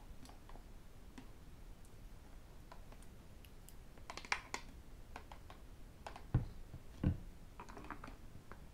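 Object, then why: Plastic water bottle. Fingertips and metal rings tap quickly on a hollow white plastic sports water bottle standing upright. Soft, irregular clicky taps with bright ticking edges sound over a low background hiss, and two louder, deeper thuds stand out near the end.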